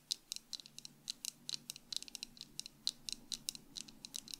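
Long acrylic nails on both hands tap the frame and lenses of tortoiseshell plastic sunglasses worn on the face. About 23 quick, sharp clicks come in an uneven rhythm; each is bright and high and dies away almost instantly. The taps sit over a faint, low, steady hum.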